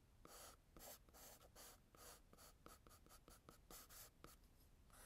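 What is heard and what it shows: An orange graphite pencil draws and scratches jagged lines across a tan toned-paper page of a spiral-bound sketchbook lying flat. The quiet strokes come in a steady series of short, dry, bright scratches with a hissing texture, each ending with a light tick.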